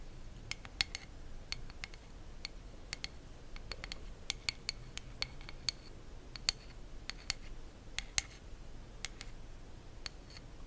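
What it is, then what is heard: Wooden hairbrush back. Long nails tap and scratch the smooth, solid wooden back of a hand-sized hairbrush held close to the mic. Sharp, bright clicks land in an irregular series over a soft, steady low hiss. Each tap dies away almost instantly.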